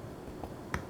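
The crust of a freshly baked no-knead artisan loaf gives off faint, soft clicks and crackles as it is handled, over a low background hum. The crust sounds very crispy.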